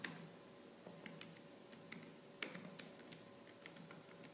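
Fingertips with purple-painted nails type fast and aggressively on the black plastic keys of a laptop keyboard. Eleven sharp, bright, plastic clicks ring out with a quick decay over a faint, steady low hum.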